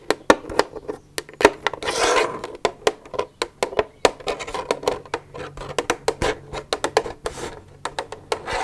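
Long nails tap and scratch an empty, hollow plastic milk jug. Quick, dry clicks with a mid-range hollow tone are interspersed with brief bright scratching rubs.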